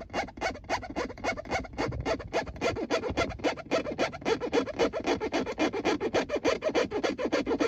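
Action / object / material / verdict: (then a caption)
scrape / textured plastic gear selector plate over a car console / plastic / none. Fingertips and nails scratch and tap a textured plastic gear selector plate marked P R N D, a flat panel set over a hollow console. The result is a fast, steady run of dry, mid-pitched scratchy taps, roughly three to four per second, each dying away almost at once.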